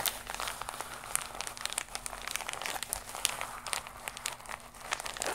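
A flat, iridescent, embossed holographic plastic mailer pouch is held against the chest and scratched and tapped with long nails. The result is a steady stream of bright, crisp crinkling and scratching with many short clicky taps. There is little low end and the sound does not ring after each tap.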